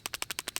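A Ruger Max-9 compact 9mm pistol is shaken, and its steel slide rattles loosely on the polymer frame because of sloppy tolerances. Seven quick, bright clicks are heard, evenly spaced and dying away almost instantly. The loose fit makes the rattle plainly audible.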